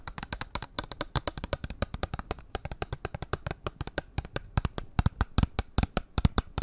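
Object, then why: Small printed cardboard cosmetics box. A small, flat, hollow pink printed cardboard eyeshadow palette box is held in one hand and tapped and scratched with long acrylic nails. Dozens of quick, dry, hollow taps with almost no ring come in an uneven stream, mostly low and thuddy with light scratchy texture between them.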